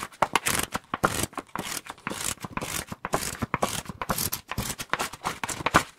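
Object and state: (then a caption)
Paperback book, tapped and scratched. A small, solid paperback copy of "Scary Stories to Tell in the Dark" with a glossy paper cover is held in both hands close to the microphones while fingertips and short nails tap and scratch quickly across the cover. The result is a fast, uneven stream of crisp taps and bright scratchy swipes, with dry clicks that die away almost at once and a tonal center around 1.2 kHz.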